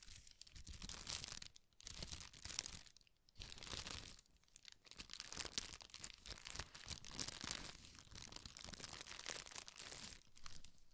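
Red tissue paper is scratched and crinkled with the fingertips and nails, then folded. The result is dense, bright, crackling crinkles in bursts, with short quieter pauses between them.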